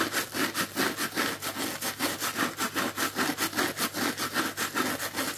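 Fingertips scratch and rub the pink, coarse plastic scouring layer of a dry, palm-sized, strawberry-shaped sponge with yellow foam underneath, held in one hand. The result is a steady, rhythmic run of bright, raspy scratching strokes, about two to three per second, throughout.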